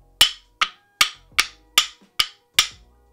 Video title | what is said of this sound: Project Ionic: BIG GPU, tiny motherboard... | really hard it sounds like ceramic when knocked together